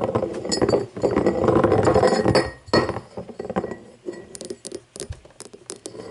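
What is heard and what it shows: An empty cut-crystal glass tumbler is turned by hand and tapped with long painted fingernails. A dense, gritty stretch of clinking and rubbing comes first, then separate bright, short clinks that ring briefly around a 400 Hz tone.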